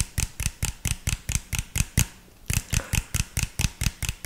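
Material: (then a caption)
Plastic. Fingertips tap and scratch the body of an empty, hollow, clear PET drink bottle with an orange label. About 18 quick, hollow taps land at a steady rhythm, each a short low thump with a bright plastic click that dies away almost at once. There is a brief pause just after two seconds.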